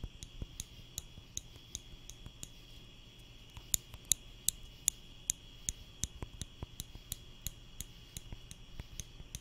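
A small wooden spring clothespin, held by the fingertips and squeezed repeatedly beside the microphone, makes about two dozen short, bright clicks at an uneven pace, some much sharper than others. A faint steady high tone and a low hum run underneath throughout.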